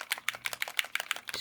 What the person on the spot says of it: do you hear that bottle rattle